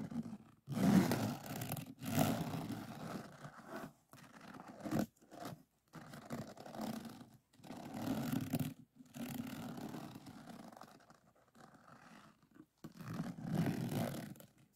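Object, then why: Resin drills on a diamond painting board. A pink plastic drill pen scrapes across the resin drills of a finished diamond painting on a flat board. Repeated raspy, gritty scraping strokes of varying length sound mostly low and mid, broken by short silences between passes.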